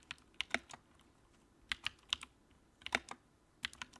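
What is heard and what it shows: Fingertips type on the keycaps of a compact white plastic backlit mechanical keyboard. About fourteen short, bright clacks come in small clusters with quiet gaps between them, each dying away almost instantly over a faint low background.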